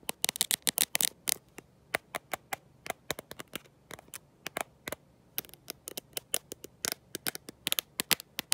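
A black smartphone with a glossy glass back and no case, held in one hand, is tapped and scratched by long nails fitted with gold metal paperclips. About 42 sharp, bright clicks and scrapes with almost no ring come in a dense flurry at first, then spread out into irregular taps with a quick cluster near the end.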